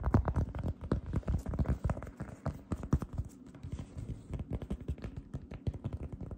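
Fingertips with long red nails press, grip and rub across a light-blue fluffy cotton candy cloud slime disc held in both hands. The result is a dense run of soft, deep, low squishes and muffled taps, with faint sticky crackles between them.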